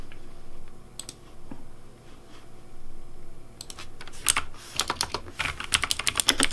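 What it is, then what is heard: Plastic mechanical keyboard. Fingertips type on the hollow plastic keycaps of a pink Razer Deathadder V3 Pink plastic mechanical keyboard. A few soft, scattered clicks over a low background hum give way after about four seconds to a quicker run of sharp, bright, clacky keystrokes that stop almost instantly.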